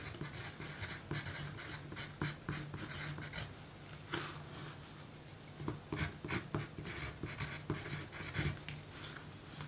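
A pencil writes on a small, thin pink paper note card resting on a table, its graphite scratching across the paper. Short, bright scratchy strokes come in quick bursts over a steady low hum.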